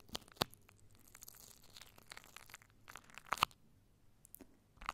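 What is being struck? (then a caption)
Plastic cling wrap. Fingertips and long nails scratch and squeeze clear plastic cling wrap stretched over a microphone. Soft, steady crinkling and rustling is broken by a few sharp, bright crackles and snaps close to the mic.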